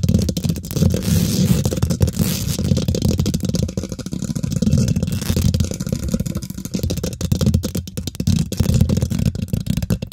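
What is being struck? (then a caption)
Metal mesh microphone grille. Long nails and fingertips on both hands quickly scratch and tap the domed, hollow woven metal mesh grille of a large silver condenser microphone. The result is a dense, boomy rumble of rapid scrapes and taps, heavy in the low end with faint high crackle. It continues steadily for about ten seconds, with only brief dips.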